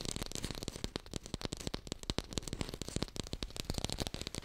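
Fast tapping on an artificial pear, recorded in hi-fi. A quiet, steady stream of rapid, short, dry taps runs throughout, each a crisp broadband click over a soft low thump that dies away almost instantly.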